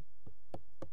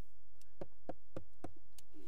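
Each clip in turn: First: hollow plastic repair on a stone pagoda. Second: stone pagoda part.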